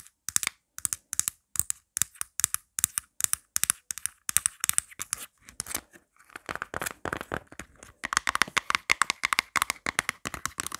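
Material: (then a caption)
Plastic. Long nails tap and scratch fast on the pop grip of a marble-print plastic phone case, and the case is then turned over to show its plain inside. Sharp, bright plastic clicks come in quick bursts with brief pauses between them. Around the middle they turn into denser, raspier scratching, then rapid tapping returns and runs to the end.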